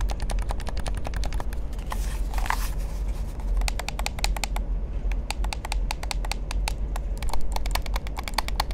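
Fingertips and nails tap and click on the buttons and body of a hollow black plastic gamepad held in both hands. Rapid, sharp, bright clicks come in quick irregular runs over a steady low rumble, with a brief soft rubbing swell near the two-second mark. Each click is crisp and short, dying away almost instantly.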